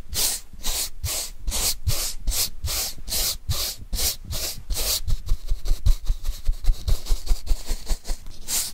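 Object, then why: Corrugated cardboard sheet. A paintbrush is stroked back and forth across a flat brown corrugated cardboard sheet held upright in hand. It makes a steady rhythm of bright, hissing brush sweeps with soft low thumps beneath. After about five seconds the strokes turn quicker, shorter and scratchier.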